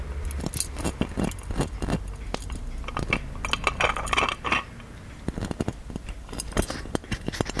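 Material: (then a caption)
Metal. Fingertips and nails tap and scratch the engraved body and spout of a hollow gold-plated metal genie lamp, close up. Quick, bright metallic ticks and clinks come in uneven bursts and die away almost at once, with a steadier scratchy rasp in the middle. A low rumble runs underneath throughout.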